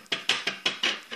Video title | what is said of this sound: Build The Millennium Falcon Trail Run: Parts 1 & 2 - I Am Excited! | they're also metal can hear that a bit better